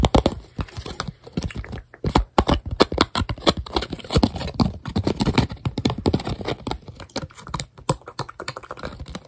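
Bare fingertips and short nails rapidly tap and grip the surface and edges of a thin, flat, clear tempered glass phone screen protector. The result is a dense stream of short, dry clicks and taps with almost no ring, irregular in loudness with brief pauses.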